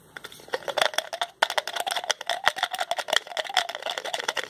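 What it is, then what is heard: Plastic pill bottle cap being twisted. A small white plastic pill bottle with a blue label has its white plastic cap twisted on and off with the fingertips. This makes a rapid run of crisp, bright ratcheting clicks with almost no low end, pausing briefly just before 1.5 seconds. The clicking then continues steadily to the end.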